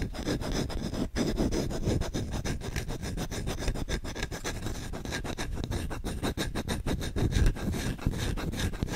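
Short fingertips scratch and rub fast and aggressively on the solid bowl of a wooden spoon. The result is a dense, continuous run of rough, rasping strokes. The scrapes are mostly low and woody, with faint bright grit on top.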